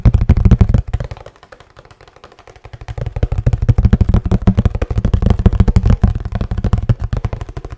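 Fingertips tap quickly on a hollow kraft cardboard box with a blue band, held tilted. The rapid taps make dull, low, hollow thumps that fade to soft, sparse taps for a couple of seconds before building back into a dense, steady patter.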